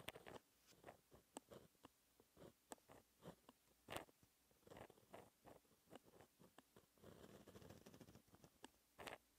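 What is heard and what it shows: A fine white-ink pen held in the fingers scratches across a flat black textured paper sheet while writing the final lines of a formula. Quiet, dry scratching comes in a quick series of short strokes with bright edges, and a longer continuous scrape sits near the end before a last stroke.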